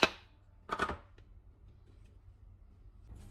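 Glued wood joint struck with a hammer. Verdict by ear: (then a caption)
Tight. A dried wood joint glued with a styrofoam-and-acetone adhesive is struck with a hammer. A sharp knock sounds at the start, then a louder cluster of impacts follows at about 0.7–1 second, with a faint tap after it. The joint stays intact and holds firm.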